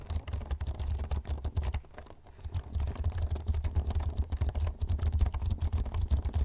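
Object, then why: Plastic computer keyboard. Fingertips type rapidly on the keys of a black plastic computer keyboard held vertically in front of the mic. The result is a dense, steady stream of short, dry key clicks with a heavy low thump, easing into a brief lull around two seconds before the fast typing resumes.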